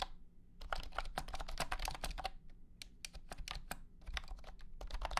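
A blue and white honeycomb keyboard with hexagonal plastic keycaps in a hollow plastic case is typed on with the fingertips of both hands. It gives a quick run of short, crisp plastic clacks with bright tops and almost no ring. A steady low hum sits underneath.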